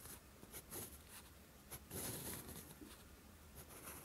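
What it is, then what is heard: Lined paper sheet. A steel fountain pen nib scratches along a flat sheet of lined writing paper in writing strokes. Soft, uneven bursts of bright, papery scratching rise and fall over a faint low hum, with a louder, longer stroke near the middle.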